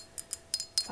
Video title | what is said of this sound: ASMR * Mini Glass Vases * Fast Tapping/Scratching! * Soft Spoken * ASMRVilla | a bit more high pitched where it's less thick but even still it's quite thick compared to a wine glass